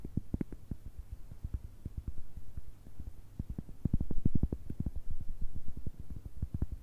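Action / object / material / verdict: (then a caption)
tap / cork coaster / cork / none. A round, thick, solid cork coaster about the size of a palm is held in one hand and tapped and scratched with long red acrylic nails. It gives a quick run of soft, dull, low thuds that die away almost at once, with faint scratching between them. The tapping grows a little louder and denser midway before easing off.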